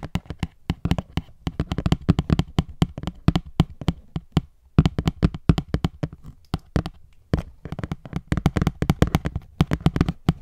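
An opened cardboard box with a clear plastic window, holding a gold phone case, is tapped rapidly with long nails. The taps sound hollow, dull and low, each dying away almost instantly. They come in quick bursts with brief pauses between.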